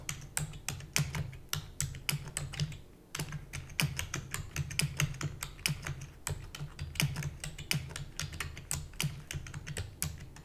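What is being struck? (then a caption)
Plastic computer keyboard. Rapid typing with long natural nails and fingertips on a full-size black plastic keyboard with hollow keys produces a dense stream of sharp, bright clicks over a steady low hum. There is a brief pause near the three-second mark before the quick tapping resumes and continues to the end.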